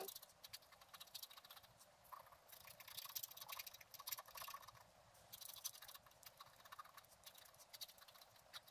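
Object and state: Scratch art paper sheet.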